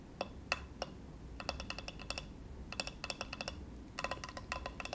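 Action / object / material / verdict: tap / bamboo cutting board / bamboo / none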